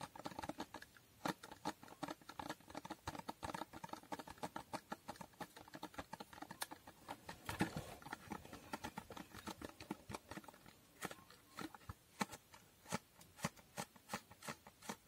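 Long painted nails rapidly tap a small hollow cardboard box with a holographic foil finish. The quiet, crisp, dry taps come in quick irregular bursts with a hollow midrange knock and very little ring.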